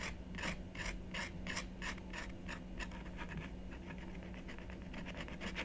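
A wooden stylus repeatedly scrapes the coating in a small area of a black-coated scratch-art card lying flat on a wooden table, while the other hand holds the card still. Short, bright, raspy scratching strokes come in a quick series, spaced apart at first and then faster and denser, over a steady low hum.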